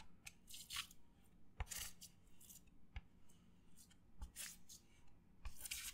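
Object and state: Paper plate scratched.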